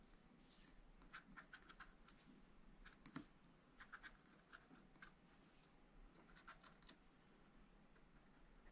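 A wooden stylus scratches lines into the black coating of a flat, wax-coated scratch-art paper pad, around the flowers. Quiet, dry scratchy strokes and brief bright ticks come in irregular bursts over a steady low background hum.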